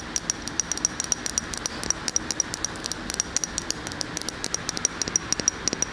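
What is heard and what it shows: Long fingernails tap and scratch the glass side of a large glass candle jar filled with solid wax, held in one hand. Dozens of quick, bright, clicky taps with almost no ring come in a rapid irregular stream over a faint scratchy hiss, the sound sitting mostly in the high range.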